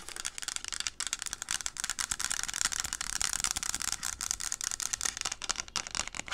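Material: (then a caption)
Plastic. Long acrylic nails rub and scratch along the textured side of a teal plastic reusable coffee cup, hollow and apparently empty, held in both hands. The result is a steady, dense hiss of bright, high-pitched scratching with quick, crisp rasps and almost no low end.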